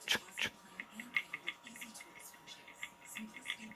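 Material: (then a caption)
Metal. During a jiggle test on an Assa Twin 6k lock, pin six is tapped repeatedly; it sits out of the milling and moves slightly up and down against its driver. About 15 faint, quick, high-pitched metallic ticks come in an irregular series over a low steady hum. The jiggle shows that pin six is picked.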